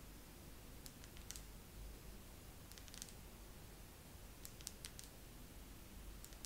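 Fingernails slowly tap on a wax pillar candle in a second round of tapping, in small clusters spread across the clip. Each tap is a short, bright click that dies away almost instantly, heard over a quiet, steady low rumble.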